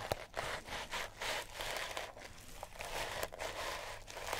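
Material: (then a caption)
Sisal rope. Long natural nails scratch a small, solid, sisal-rope-wrapped cat toy. The result is a series of dry, rough, bright scratching strokes with a crinkly, rustling texture and a few sharp clicks as the nails catch the fibers.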